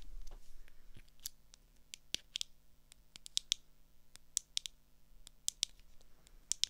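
Long acrylic nails tap and click on the clear lenses and frame of small, hollow, blue plastic swim goggles held in the hand. Sixteen sharp, bright clicks come at an irregular pace. Each dies out almost instantly over a faint low hum.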